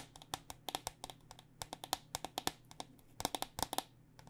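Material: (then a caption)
Plastic. Long nails tap the outer plastic shell of a white cycling helmet held upside down, its plastic shell over foam and hollow inside. About 25 quick, irregular taps give dry, bright clicks with a hollow tone near 760 Hz, each dying away almost instantly over a faint low hum.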